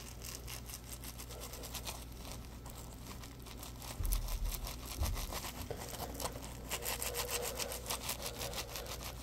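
A yellow textured polymer foam Scrub Daddy puppy sponge is held in both hands, bent and squeezed while fingertips rub and scratch the foam. The result is a steady stream of dry, bright scratching and rubbing with rapid irregular crackles over a low rumble, with a few louder squeezing bursts partway through.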